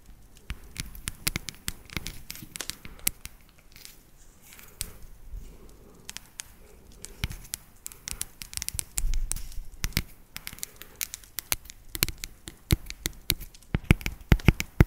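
Long acrylic nails tap and scratch an unwrapped solid dark chocolate bar with segmented ridges. Rapid, sharp clicking taps with bright crackly edges alternate with softer scratching over a low, dull body. The taps come in irregular bursts and grow denser and louder toward the end.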